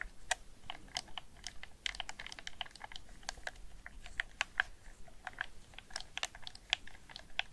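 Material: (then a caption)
Plastic. A black, hollow, hand-sized hard-plastic PS4 DualShock 4 gamepad is held in both hands while fingertips and painted nails rapidly press and click its face buttons, D-pad and thumbsticks. The result is a quiet, steady stream of sharp, dry, bright plastic clicks and taps with no ring, over a soft low background hiss.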